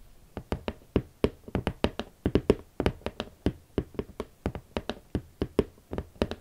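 A large, rigid red cardboard Valentino shoe box with its lid on, hollow with hot pink leather Valentino platform boots inside, is tapped with the long nails and fingertips of both hands. About 29 short, dry taps land in an uneven rhythm. Each has a hollow, low-mid body near 400 Hz and a quick bright click on top, with almost no ring.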